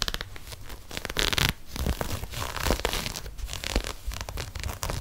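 An empty, hollow lime green and grey knit textile sneaker, held in one hand, is scratched with long nails along its ribbed knit. The result is a steady run of dry, raspy scratching with bright, crinkly bursts, swelling louder in a few stretches before settling back.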